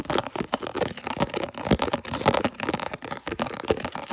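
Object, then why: Thin plastic container lid. Long nails rapidly scratch and tap a thin, hollow, translucent red round plastic food storage lid with ridged rings, held close to the camera. The result is a fast, dense stream of dry, crinkly scratches and sharp clicky taps with a hollow midrange tone and almost no ring after each hit.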